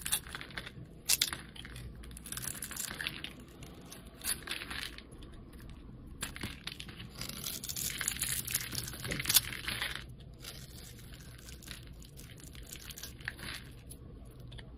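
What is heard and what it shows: A solid red oval bar of soap, held in the hand, is shaved with a metal utility blade. Crisp, bright scraping and crumbly shaving sounds come in short bursts with small clicks over a quiet, steady low background.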